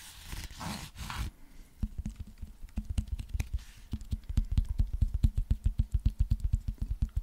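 A cylindrical JBL Bluetooth speaker with a grey fabric cover and rubber end caps is scratched and tapped with fingertips and nails, including on the end cap. It opens with about a second of rough, breathy scratching on the fabric, then a string of short, dull, low thumps with a slight boom follows. The taps come faster and louder toward the end, each dying away almost instantly.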